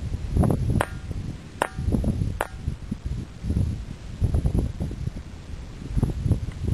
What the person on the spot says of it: If you strike the boulder with a stone it produces a metallic, bell-like tone.